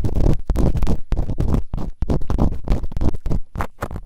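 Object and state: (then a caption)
Silicone ear microphone being scratched. Bamboo earpicks, held in fingertips with long nails, quickly scratch and rub inside the open canals of both soft, solid rubbery silicone ears on a white binaural microphone. The result is a fast series of close, muffled scraping and rustling bursts, heavy in low rumble with little high brightness, separated by brief near-silent gaps.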